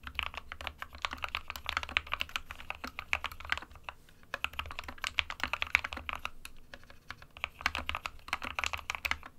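Fingertips of both hands type continuously on an SK61, a small 60% white plastic-cased mechanical keyboard with plastic keycaps resting on a desk mat. The result is a dense stream of sharp, bright plastic clacks centered around 2.3 kHz, each dying away almost instantly. A faint low hum sits underneath, and the typing briefly thins out around the four-second mark.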